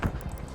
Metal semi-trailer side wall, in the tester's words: You can bang on the metal and you can hear if it's a hollow sound or if it's got something up against it.